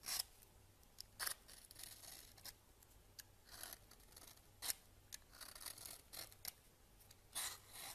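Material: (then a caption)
Soap. A red peeler shaves a solid pale yellow bar of soap, and each scraping stroke curls off a shaving. The strokes come as short, bright, crisp scrapes with brief quiet pauses between them. A soft, steady low hum sits underneath.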